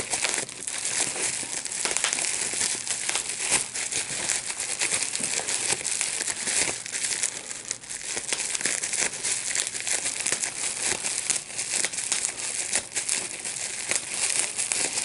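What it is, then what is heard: Plastic bubble wrap being popped. A large sheet of clear plastic bubble wrap with small air bubbles is held in both hands while the bubbles are popped by pinching them with the fingertips and thumbs. The result is a steady, dense stream of bright crinkling and crackling with many quick, sharp little pops. The sound is almost entirely high-pitched with hardly any low end.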